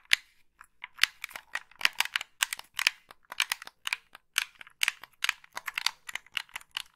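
Long pink nails tap and click the buttons and scratch the shell of a hand-sized, hollow, black plastic Xbox-style gamepad held in both hands close to the mic. A rapid, uneven stream of bright, dry clicks and scratchy taps stops dead after each hit, with no low end.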